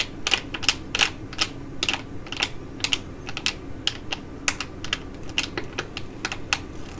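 A filled green foil-laminate sheet mask pouch is held in both hands and crinkled by bending, with long nails on the foil. A rapid, irregular series of sharp, bright crinkles and clicks sounds much like typing, each dying away almost instantly over a faint low hum.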